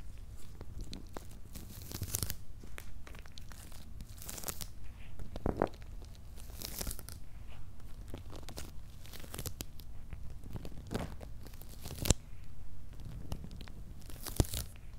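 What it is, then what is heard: Cardboard box with paper label, scratched. Fingertips and nails scratch across the paper labels on top of a medium, closed, hollow corrugated cardboard shipping box. The result is a steady run of dry, crinkly scraping bursts with bright edges and a low, hollow rumble from the box body, broken by a few sharper clicks.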